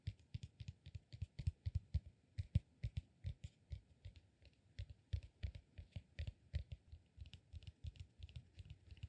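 A solid, peanut-shaped cork massage ball is held in the hands and tapped and scratched with fingernails. It makes a quiet, rapid, uneven series of short, dry taps, each a dull low thud with a faint bright click on top. Every tap dies away almost instantly.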